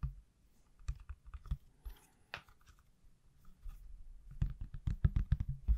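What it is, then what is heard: Silicone phone case tapped. Fingertips tap a hand-sized, solid iPhone in a pale green silicone/plastic case held in the other hand. The soft, dull, low thuds are short and dry. Sparse taps and a brief brighter scrape in the first half give way to quicker, louder clusters of taps toward the end.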